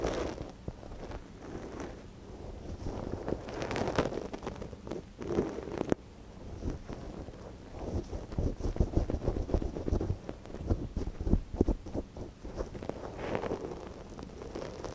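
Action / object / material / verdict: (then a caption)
scrape / silicone dummy ear of a binaural microphone, wooden ear pick / silicone / none. A gloved hand works a thin wooden ear pick inside the canal of a small, hollow white silicone dummy ear on a binaural microphone. The result is a close, low, muffled scratching and rustling with dense crackles and soft thumps, swelling and fading throughout, plus one sharp click near the middle.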